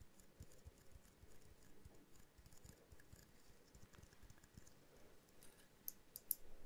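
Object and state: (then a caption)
Small glass jar ornament tapped with nails. A small hollow glass jar snow globe ornament with a tiny tree inside is tapped repeatedly with long nails. The quiet, rapid, soft taps sound dull and muffled with very short ring, and a few sharper, brighter clicks stand out near the end.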